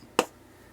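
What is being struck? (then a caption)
LED bulb dome, plastic. A single tap on the plastic dome of an LED bulb, checking whether the dome is plastic before it is pried open with a screwdriver. The tap gives a short, dry click with a light midrange tone, dies away almost at once, and sounds like plastic.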